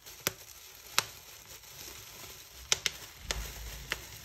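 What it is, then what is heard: Plastic bubble wrap being popped. Fingers pinch and pop individual air bubbles on a big, clear plastic bubble wrap sheet spread flat. Six sharp, bright pops sound at irregular intervals, each dying away almost instantly, over a faint, crinkly rustle of the plastic.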